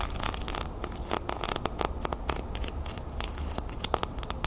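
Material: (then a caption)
Metal. A small, flat, round copper-toned metal disc earring with a scale-textured surface is held in hand and scratched with long painted nails. The result is a rapid, uneven run of short, crisp scratching clicks with bright edges, over a steady low hum.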